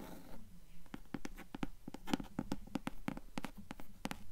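Long acrylic nails scratch and tap the blue cloth cover of a closed hardcover book lying flat. Short, sharp taps land in a loose, uneven rhythm over a soft, low scratching rustle, each tap dying away almost instantly. The sound is quiet and dry.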